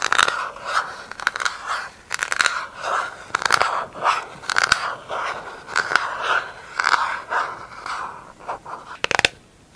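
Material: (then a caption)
Plastic. Long acrylic nails scratch and tap the inside and outside of a round, empty, hollow pink plastic lid. The result is a run of dry, crunchy scrapes centered in the midrange, broken by sharp, bright clicking taps. Quiet gaps fall between the strokes.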